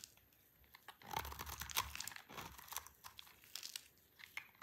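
A solid, dry green soap bar, held by a hand with long purple nails, is scraped and shaved with a utility knife. Irregular dry, crunchy scrapes and crinkly crackles follow one another, with a louder, denser stretch in the middle of the clip. The sound is quiet, bright and close, with very little low end.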